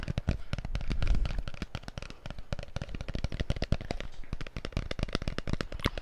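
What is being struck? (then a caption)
Hard plastic cup. A hand-sized, hollow, empty pink hard plastic cup is held beside the mic and tapped and scratched with fingertips and nails. It makes a rapid, uneven stream of dry, close clicks and taps with a deep, thumpy low end and light scratching between them. Each tap stops almost instantly, without ringing.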